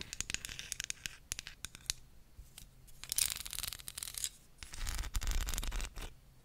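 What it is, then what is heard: Wooden comb. Long nails tap and scratch a small, solid wooden comb held close to the microphone, making sharp, dry clicks and bright, papery rasps. Near the end the nails run along the comb's teeth, giving a denser, rougher buzzing scrape with a low rumble underneath.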